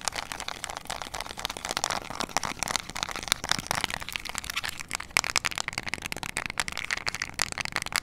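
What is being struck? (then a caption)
Small plastic remote control with rubber buttons. A small, flat, hollow plastic LED remote control with rubber buttons is held in both hands while long nails tap and click the buttons. Dense, rapid, bright clicks and light plastic taps follow one another throughout, each ending almost instantly.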